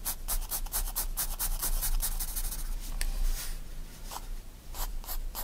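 A 4B pencil draws quick line strokes across a page of a white paper sketchbook lying flat, giving a run of short, dry scratching sounds with bright, hissy edges. The strokes come in fast bursts with brief pauses, over a steady low rumble.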